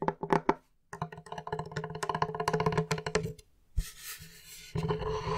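Fingertips and nails tap on the flat face of a large, solid plywood board, starting with a few separate dull knocks and then a fast, dense run of short wooden taps. After a brief pause, the nails scratch across the wooden surface with a soft, bright hiss, followed by another light scraping stroke.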